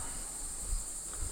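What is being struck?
Nothing is struck.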